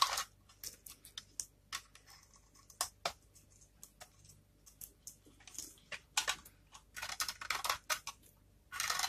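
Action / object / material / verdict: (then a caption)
scrape / dry soap bar scraped with a small knife / soap / none. A small knife blade repeatedly scrapes and shaves the surface of a dry, solid, palm-sized bar of blue-and-white striped varnished soap held in one hand. The result is a quick series of short, dry, bright scraping crunches, with longer raspy strokes at the start and end, as crumbly flakes pile up below.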